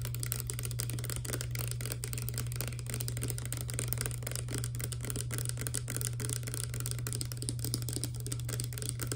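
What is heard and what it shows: A clear plastic Garnier Fructis hair serum pump bottle with a green pump, partly filled with liquid and hollow, is tapped quickly on its sides and base with long nails. Dense, irregular light clicks and taps run throughout over a steady low hum.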